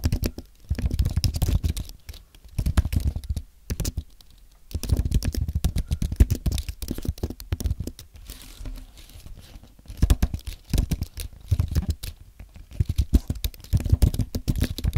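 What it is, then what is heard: Compact aluminium and plastic keyboard being typed on. Fingertips type on a compact white aluminium and plastic Apple keyboard, producing quick bursts of soft, muted key clicks. The strokes are deep and thumpy, with very little brightness and almost no ring. Each run of typing is separated by brief pauses.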